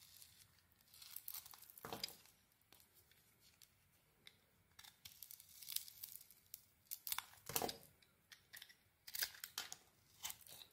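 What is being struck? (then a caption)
Soap bar cut with a metal blade. A metal blade shaves thin strips off a solid, gold-coated white bar of soap held in the hand. The quiet, dry scraping and crisp tearing strokes come in short, irregular bursts, bright and hissy with almost no low end, each fading quickly.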